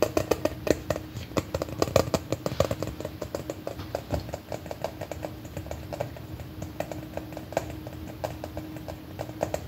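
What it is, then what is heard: Plastic giant M&M container. A large, red, hollow plastic container shaped like an M&M is held up and tapped with fingernails and fingertips. A steady stream of quick, dry, hollow taps rings briefly around a mid-range tone over a faint, constant low hum.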